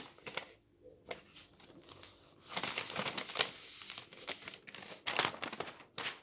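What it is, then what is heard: Newsprint newspaper page being handled. Fingers grip the edge of a thin newsprint page of a paper newspaper lying on a table and turn it. The result is a dry, bright crinkling and rustling, with a quiet stretch near the start before sharper crackling bursts fill the rest.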